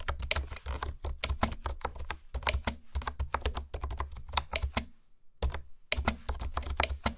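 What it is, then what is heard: Plastic keyboard being typed on. Long nails and fingertips type and tap on a hollow pink plastic honeycomb keyboard with hexagonal keycaps. Quick, sharp clacks follow one another with a hollow low thud under bright clicky edges. The typing pauses briefly near the end, then resumes.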